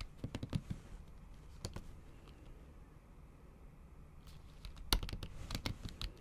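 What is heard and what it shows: Long acrylic nail tips type on a MacBook Pro keyboard whose plastic keys sit under a thin pink patterned silicone cover. Quick bursts of sharp, bright clicking taps with a soft low thump come at the start and again near the end, with a quieter stretch of sparse light taps between them.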